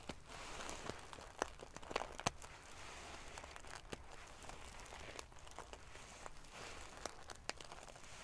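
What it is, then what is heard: Metal sequin pillow being ruffled. Long painted fingernails scratch and ruffle a large decorative pillow covered in rows of small silver metal sequins sewn onto fabric. The result is a steady, quiet, crinkly rustle with a faint low rumble underneath, broken by sharp, bright metallic ticks and clicks as the sequins flip and catch.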